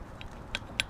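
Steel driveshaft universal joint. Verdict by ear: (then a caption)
Loose. A worn, loose steel driveshaft universal joint on a Toyota Tacoma is worked by hand, giving three short, sharp metallic clicks, the last one loudest, over a quiet background. The knocking play shows the joint is worn and due to be replaced with an OEM part.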